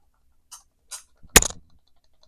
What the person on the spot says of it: it has a little sound, but not really much